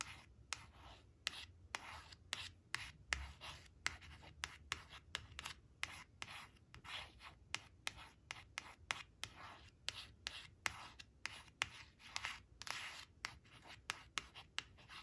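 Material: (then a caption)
Coated cardboard. Long nails trace and scratch over a thin, flat, glossy coated cardboard flash card showing a blue crayon, resting on a fabric cloth. Quiet, bright, dry scratching strokes repeat in a steady rhythm of short rasps with brief gaps between them.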